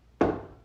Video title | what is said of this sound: Jurassic Jeep #73 - Video 11 - Re-unification and Start-up | sound like knocking on a solid